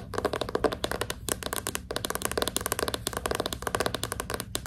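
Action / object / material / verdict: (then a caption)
tap / hardcover book with glossy cardboard cover / cardboard / none. A closed, solid hardcover book with a glossy cardboard cover is held upright while its front cover is tapped rapidly with long pink nails. The result is a fast, uneven stream of short, dry, clicky taps with a bright edge and a hollow mid-toned body, each dying away almost instantly.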